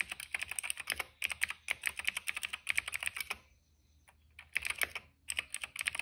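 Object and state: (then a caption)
Plastic mechanical keyboard being typed on. A retro-style cream plastic mechanical keyboard with black and purple keycaps is typed on by the fingertips of both hands. Fast, bright, clicky keystrokes come in bursts, with a pause of near silence in the middle before the typing resumes.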